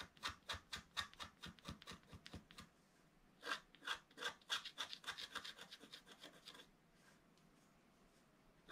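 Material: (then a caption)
Coated paper. A thin wooden stick scratches the coating off a flat, black-coated scratch-art paper page while the other hand rests flat on the page. Quick, dry, bright scratching strokes come in a rapid uneven rhythm, then a short pause, then another dense burst. After that the sound fades to faint, soft rasping.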